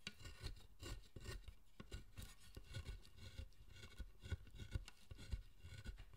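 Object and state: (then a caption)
Carved wooden statue being pared with a chisel. A chisel scrapes and pares the surface of a solid, pale wooden figure, a carved statue of the guardian deity Zōchōten, held in the hand. Quiet, dry rasping strokes follow one another quickly, each with a soft low thump and faint bright scratchy edges. The figure is turned toward the end.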